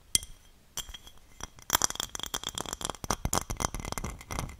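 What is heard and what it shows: A small, shallow, hollow and empty red glass dish is held in both hands close to the microphone and tapped and scratched with long dark-painted nails. A sharp, bright clink with a brief high ring opens the clip, then after a quiet pause come scattered taps that build into a dense run of quick clicking taps and scratchy nail strokes on the glass. The sound stays crisp and high-pitched, with each tap dying away almost instantly.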